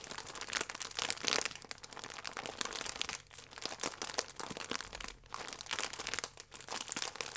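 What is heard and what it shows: Thumbs and fingertips squeeze and crinkle a sealed plastic film pack with a croissant inside. A dense, bright crackling runs almost without a break, dipping briefly quieter twice before picking up again.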